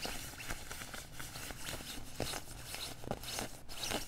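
Fingertips and nails of both hands scratch the padded chest panels beside the zipper of a worn beige quilted nylon puffer jacket. A steady, bright, scratchy rustle runs throughout, with three sharper, louder strokes standing out near the end.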